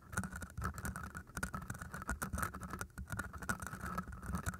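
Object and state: Floral foam being scratched.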